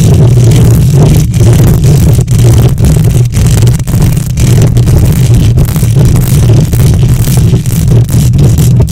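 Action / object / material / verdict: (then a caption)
scrape / metal mesh microphone grille / metal mesh / none. Long nails on both hands scratch the hollow metal mesh grille of a silver condenser microphone. The result is a loud, continuous rumbling scrape dominated by deep low-end thumping around 110 Hz, with a faint hiss above and only brief dips in level as the strokes shift.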